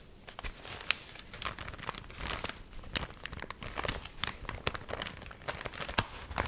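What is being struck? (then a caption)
Paper magazine. A paper magazine, its pages rippled in waves from drying after getting wet, is held by its edges in both hands and fanned and flexed. The stiff pages give off continuous dry crinkling and crackling, broken by sharp, bright snaps that stand out above a quiet, hissy bed.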